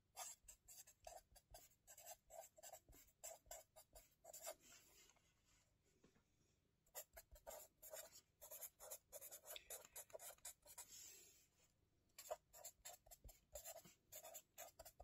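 Fingertips hold a marker that scratches across the page of an open lined-paper spiral notebook on a table while writing. Quick, bright, scratchy strokes come in dense rhythmic bursts, with a softer continuous rub between about 5 and 7 seconds and a brief lull near 12 seconds. The overall level stays quiet and close.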